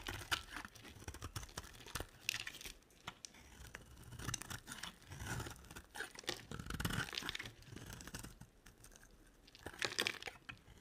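A box-cutter blade carves and scrapes a solid, dry, rectangular olive green soap bar, peeling off chunky flakes. The result is a steady run of crisp, crunchy scraping and tearing textures with bright, papery highs and soft low thuds, swelling in loudness around the middle and near the end.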